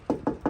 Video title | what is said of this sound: Dream truck added to the fleet | if you knock on this it's very Hollow and thin